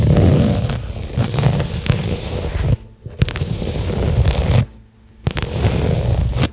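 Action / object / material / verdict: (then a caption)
scrape / small flat pebbled-leather case / leather / none. A small flat black pebbled-leather case lying on carpet is tapped and scratched with long fingernails. The sound is a dense, low, rustling scrape of quick taps and scratches that comes in three bursts separated by short near-silent pauses.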